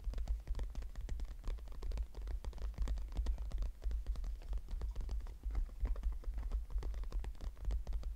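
Fingertips and nails scratch and tap across the front flap of a small floral-printed brown leather crossbody purse with a metal clasp, closed and lying flat. The sound is a dense, quiet stream of quick dry scratches and light taps with very short decay, over a steady low hum.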